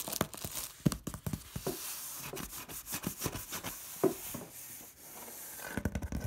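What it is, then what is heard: Corrugated cardboard box, tapped and scratched. Long red nails quickly scratch and tap the large, flat, hollow side of a corrugated cardboard box. Quick, dry taps are broken up by rasping scratches with a bright, papery hiss. Each tap dies away almost at once, with a faint hollow low thump.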